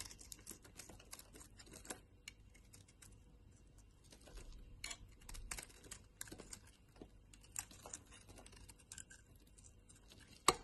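A brown solid bar of soap held in the hand is shaved with a box-cutter blade, piling up dense curled shavings. It makes quiet, crisp scraping and ticking strokes with bright edges over a low hum, with one sharper, louder click near the end.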